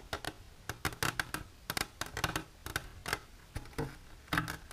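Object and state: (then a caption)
Empty hard plastic container. Long silver nails tap on and grip the sides of an empty, transparent hard plastic container standing on its end. The result is an irregular series of short, dry plastic clicks and ticks with a hollow tone around 1.6 kHz, a bright edge, and almost no ring. Brief scraping grips sit between the taps.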